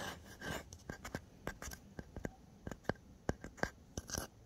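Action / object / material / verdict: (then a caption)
scrape / small painted wooden box / painted wood / none. Fingertips and nails scratch and rub the painted top of a small, solid-looking fox-shaped box of painted wood or MDF in orange and white, lying on a bed. Quiet, dry scratching runs under a string of short, sharp clicks and taps with no ring, some reaching up into bright highs.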